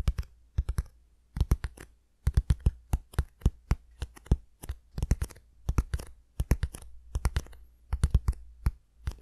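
Fingertips and nails tap and scratch the sides of a small, sealed, hollow brown cardboard shipping box, its contents not visible, held up near the face in both hands. Quick, dry taps come in rapid bursts separated by short pauses, each with a dull hollow thump and a crisp click that dies away almost instantly.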